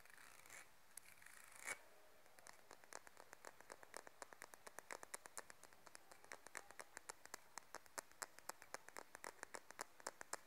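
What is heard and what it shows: Long nails scratch the spine of a light wooden comb printed "How deep is your love?", held upright, then strum its teeth. A soft, brushy scrape with one louder swipe gives way to a fast, steady run of sharp, dry clicks that die away almost instantly, bright and crisp over a quiet background.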